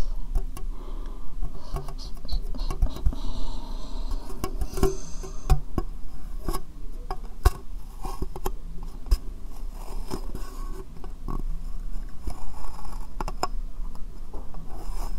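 Long painted fingernails tap irregularly on a small, hollow, empty transparent plastic box turned upside down over the microphone. The taps are quick, dull, and hollow, with short sharp clicks. They sit over a constant low, deep rumble and die away almost at once.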